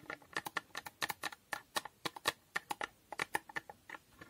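Long painted nails tap rapidly on the faces and edges of a small, hollow rectangular cardboard box coated in holographic foil. About 24 quick, dry clicks sound with a papery, hollow tone centred near 1.7 kHz and a bright edge. Each tap dies away almost instantly.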